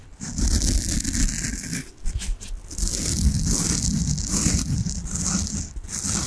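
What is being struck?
Soft foam bath sponge.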